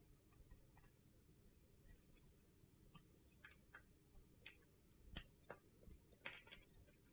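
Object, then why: Soap bar cut with a metal knife blade. A solid mint green bar of soap held in the hand is carved into pieces with a metal utility knife blade. Eight short, sharp, bright clicks and crunches stand out against a low, steady rumble, each dying away almost at once. Overall the clip is quiet.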